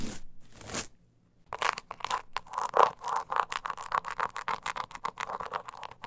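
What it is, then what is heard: Croc-embossed leather coin purse being scratched. Long nails scratch the scaly sides of a small, hollow, glossy croc-embossed leather coin purse with a metal kiss-lock frame and handle, held in the hand. Two broad hissing swipes open the clip, then a short silence. A rapid run of dry, raspy scratching strokes follows, centered in the midrange with a bright edge and almost no low end.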